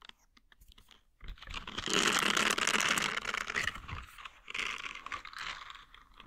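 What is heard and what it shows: A green silicone scrubber with nub bristles is bent while its bristles are scratched and flicked with the fingers. After a quiet start, a dense, bright scratching and crackling builds up, with rapid ticking flicks. It eases into softer, intermittent rustling bursts.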